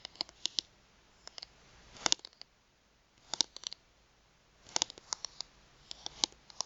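Long nails tap and scratch the edges and face of a thin plastic gift card held upright in both hands. The result is quiet, sharp, bright clicks in irregular clusters, with short soft scratching in between. Each click dies away almost instantly, with no low-end body.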